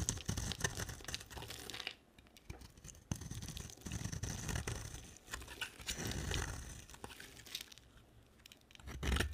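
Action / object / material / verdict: scrape / bar of soap / soap / none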